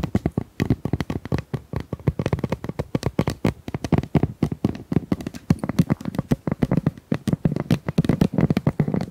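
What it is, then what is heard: Plastic pop tube. Long nails tap and scratch across the ridges of a hollow, pink corrugated plastic pop tube about 25 cm long. A rapid, uneven string of short, dry clicks and taps follows, each dying almost instantly, with a hollow low thump around 160 Hz and faint bright scratchy edges.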